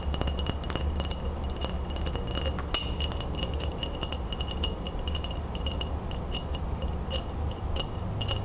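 An empty, hollow, clear glass mason jar is held on its side while long acrylic nails tap quickly on its base and rim. The result is a steady stream of bright, glassy clinks with a short ring near 2.9 kHz, over a constant low rumble.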